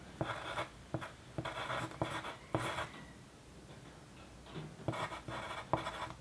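A graphite pencil tip scratches across a flat white paper sheet lying on a dark desk while writing. Bursts of dry, bright scratching strokes come in quick groups, with a quieter pause in the middle before the writing resumes.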